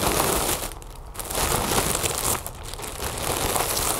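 A large, inflated, hollow mylar foil balloon is scratched and tapped with long nails and fingertips across its surface and edge. The result is a dense, crinkly scratching texture with bright, hissy highs, easing off briefly twice before picking back up.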